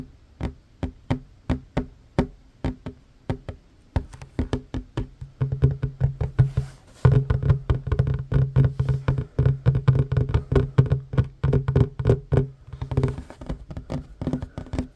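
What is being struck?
Wooden tabletop.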